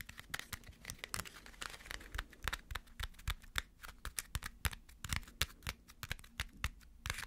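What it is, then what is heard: Aluminum foil ball. A small crumpled aluminum foil ball held in the fingers is tapped and scratched with fingernails. It gives a rapid, irregular run of sharp, crinkly clicks and scratches with bright, papery crackle over a faint low thump.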